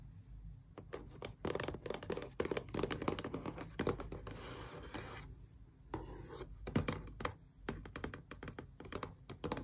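Long press-on nails tap rapidly along the edges of a small, closed cardboard box for an Xbox core wireless controller, held sideways so it sounds hollow. Dense, dry clicking taps with short, low thuds are broken by brief scratchy scraping passages across the cardboard.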